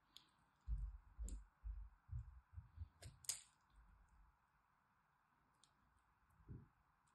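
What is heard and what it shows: A metal blade carves cubes from the scored surface of a solid green dry soap bar held in the hand. Soft, low scraping and crumbling bursts repeat through the first half, with a few sharp, bright clicks as pieces snap free. It ends in quiet, with one last muffled cut.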